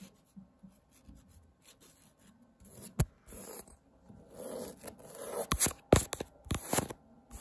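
Fingertips and nails scratch across the textured weave of a thin, printed woven fabric wall tapestry bearing the word "TOGETHER." Soft, dry rasping and rubbing build gradually in loudness, broken by sharper bright scratches and short clicks toward the end.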